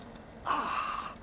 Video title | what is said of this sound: PASTA VONGOLE e ZUCCHINE *Davvero SUPER!!!* - Ricetta di Chef Max Mariola | A voi piace quando sentite che scrocchia?